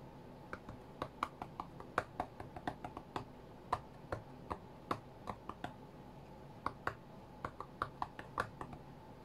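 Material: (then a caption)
Glass. Fingertips of both hands tap the glass touchscreen of an iPad lying flat on a cutting mat, playing a rhythm game. About 32 short, sharp clicky taps come in an uneven rhythm, each ringing briefly with a midrange tone near 1.1 kHz over a quiet, steady background hiss.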